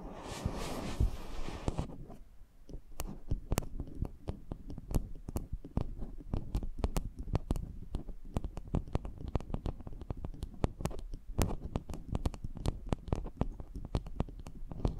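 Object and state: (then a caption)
Metal microphone capsule scratched by nails. Long painted nails scratch and rub the mesh grille and body of a small, hollow, cylindrical metal microphone capsule, with a second matching capsule standing beside it. A brief broad, hissy rubbing opens, then gives way to a dense run of sharp clicks and scratchy taps over a muffled, boomy low rumble. Each click is brief and dry, with bright crackle on top.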